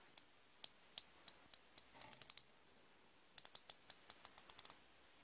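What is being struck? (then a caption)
Chrome-plated steel flex-head ratchet wrench. A solid chrome-plated steel flex-head ratchet wrench is held in one hand while the thumb and fingers rotate its head, producing rapid pawl clicking. About 20 sharp, bright, very short clicks come in two bursts: spaced clicks that speed up toward 2.4 seconds, then a pause, then a faster run. The clicks are quiet and thin, with almost no low end.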